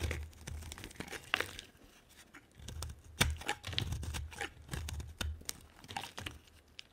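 A solid pink bar of soap held in the hand is carved with a metal knife blade that scrapes off thick pink shavings. Rough scraping and crunching strokes come in uneven bursts, with sharp bright clicks over a low rumble.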